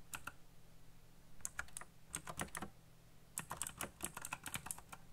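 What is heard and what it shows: Fingertips type fast on a backlit black plastic mechanical keyboard with RGB lighting and hollow key switches. Quick bursts of short, bright clicky taps sound over a low hum, with brief pauses between the runs of keystrokes.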